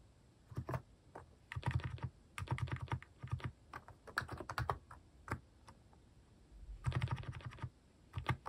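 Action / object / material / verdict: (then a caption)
tap / plastic mechanical keyboard / plastic / none. Fingertips type on a compact Hanmumu mechanical keyboard with a white plastic case and cat keycaps. Quick bursts of deep, low-heavy clacks with short, dry decay are separated by brief pauses.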